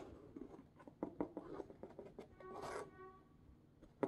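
Hard black plastic claw tips scratch and tap across the surface and printed packing tape of a hollow, medium corrugated cardboard shipping box. A quiet series of dry, rasping scrapes and short taps is heard, with a brighter, longer scratch midway and a sharper tap at the end.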